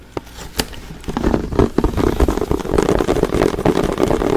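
A large clear plastic Fabuloso cleaner bottle with a pink spray trigger and yellow label, partly filled with liquid, is held in the hands and tapped and scratched with fingertips and nails close to the microphone. A few isolated taps come first, then a fast, dense stream of dry, crackly taps and scratches with a hollow low-mid tone.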